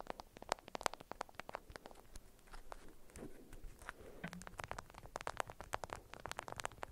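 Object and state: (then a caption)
Beeswax-coated cotton wrap around a small cube. Long acrylic nails tap and scratch the faces of an orange-print, beeswax-coated cotton wrap folded tightly around a cube-shaped hidden object about 6 cm across. About three dozen quick, dry, clicky taps land in an uneven rhythm, each dying away instantly, with soft scratchy rustling of the waxed fabric filling the gaps.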